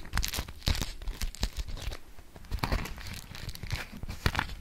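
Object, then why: Beeswax-coated cotton food wrap. A yellow polka-dot beeswax-coated cotton food wrap is held taut and folded while long nails scratch across it. It gives a rapid run of dry, papery crinkles and sharp scratchy bursts, with a dull low thump under each contact.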